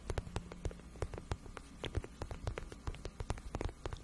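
Long nails scratch and tap a rapid, irregular series of soft, hollow clicks and taps on the shaft of a glossy pink patent vinyl boot. Each tap is short and dry and dies away almost at once, over a quiet, steady low hum.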